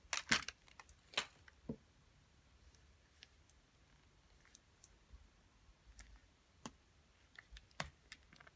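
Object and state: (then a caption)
Plastic putty container tapped with nails. A small, hollow, clear plastic flower-shaped putty container with a gray base is turned in the hands and tapped with long nails. It gives sharp, bright clicks and light taps. A quick cluster comes at the start, then the taps thin out into sparse, irregular ones over quiet handling noise.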